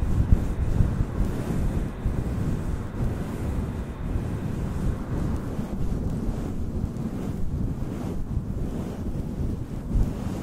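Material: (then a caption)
Synthetic fur. Fingertips and nails brush and rub a fluffy grey-white faux fur windscreen directly against a black desktop microphone, the fur sitting soft and hollow over the capsule. The result is a steady, muffled, low rumbling scrape lasting about ten seconds, with almost all energy in the deep low end and almost no bright content.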